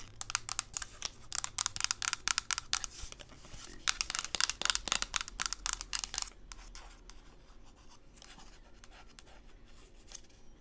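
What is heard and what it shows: A hand-sized, mint-green hollow plastic coffee tumbler with printed lettering, apparently empty, is held and tapped and scratched on its outer wall with long pink nails. Rapid, bright clicking taps and scratchy strokes fill the first six seconds. They then fade to quieter, softer scratching.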